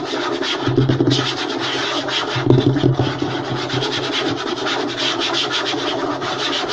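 A wooden table is scratched and rubbed fast and hard, giving a continuous, rapid rasping texture with bright, gritty high-frequency strokes. A steady low tone hums underneath, and the level stays fairly even throughout, with a few louder bursts.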